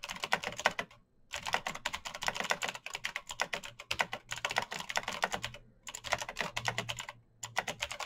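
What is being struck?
Mechanical keyboard with plastic keycaps.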